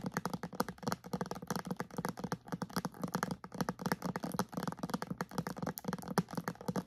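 A clear plastic bottle with a white cap, partly filled with liquid and held upright, is tapped on its sides with long nails and fingertips. The result is a fast, steady stream of short, dry plastic clicks and taps with a dull low body and almost no ring.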